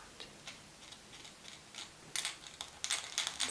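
Long painted fingernails of both hands tap two small hollow plastic googly eyes sewn onto a fluffy knitted Christmas jumper with a Santa hat design, being worn. Twelve quiet, bright, dry ticks sound at an uneven pace, each clicking sharply off the hard plastic domes and dying away almost at once, with the later taps louder and closer together.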